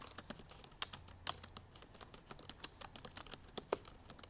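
Long purple nails tap the black plastic keys of a silver aluminum MacBook Pro in fast typing. About 26 quick, bright, clicky taps follow one another with almost no ring, some landing harder than others.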